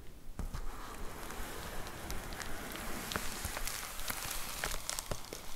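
Long acrylic nails tap and scratch the surface of a white plastic poly mailer envelope with a box inside, lying on a wooden table. A steady crinkly, rustling texture runs throughout, broken by quick, crisp taps that click brightly and die away almost at once.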